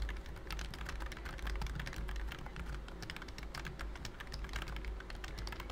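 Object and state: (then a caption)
Plastic computer keyboard. Fingertips type rapidly on a pink plastic BT21 Cooky computer keyboard with round cream keycaps and a hollow body. The result is a steady stream of short, bright clicky taps with quick decay over a continuous low rumble.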